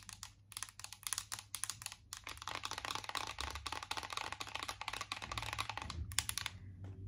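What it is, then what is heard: Metal tin eyeshadow palette. Long acrylic nails tap quickly on a closed, embossed metal tin eyeshadow palette. The result is a rapid, dense stream of sharp, bright clicks that barely ring, over a steady low hum.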